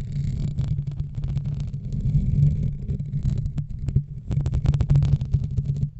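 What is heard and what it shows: Fingernails and fingertips of both hands scratch a black foam microphone windscreen, making a dense, muffled rumbling scrape. The sound sits almost entirely in the low end, swelling and fading in uneven bursts with faint brighter crackles on top.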